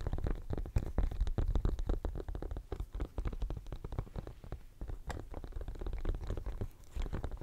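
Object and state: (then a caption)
Silicone studded pencil case. Fingernails scratch and tap the studs of a pink, bumpy silicone studded pencil case held upright close to the mic. The result is a dense, irregular run of quick, muffled scratches and soft taps, heavy and deep in the low end with little brightness, continuing steadily throughout.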